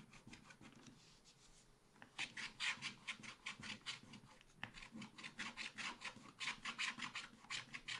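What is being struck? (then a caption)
Coated scratch-art paper card scratched with a wooden stylus. A wooden stylus scratches the mountain area near a deer's antlers on a thin black-coated scratch-art card in a spiral pad. Faint, soft rubbing gives way to a quick, uneven run of bright, rasping scratch strokes, about two or three per second. Each stroke is dry and short, with no ring after it.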